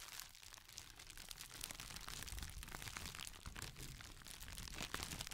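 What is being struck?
Thin plastic packaging sheet.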